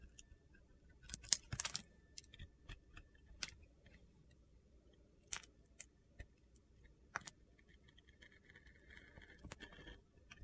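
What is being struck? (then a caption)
Bar of soap. A hand with long nails holds a solid blue glittery bar of soap while a utility knife blade carves crunchy chunks off it. About ten short, bright, crunchy clicks and snaps are spread across the quiet clip, with a faint gritty scraping near the end.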